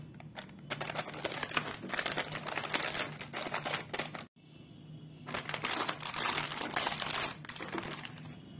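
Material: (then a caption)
Foil plastic. A full, sealed, small foil-plastic Crax Frits chip packet resting on a table is tapped and crinkled with a fingertip and nail, first on its white back side and then on the front. Dense, bright crackling and rustling taps run almost continuously, broken only by a brief near-silent pause midway.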